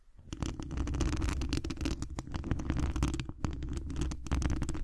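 Fingertips and long acrylic nails scratch the hollow mesh wire dome grille of a large condenser microphone. The result is a continuous stream of rapid, crackly scratching strokes over a heavy, boomy low rumble, with short bright ticks on top.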